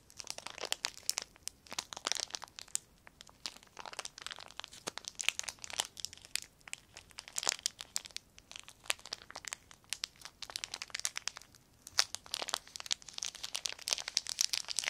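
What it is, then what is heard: Crinkled plastic film. A crumpled clear plastic sheet is crinkled with the fingertips of both hands. The result is a steady run of dense, bright crackles and crisp snaps, with no low rumble, and it comes in uneven bursts over the whole clip.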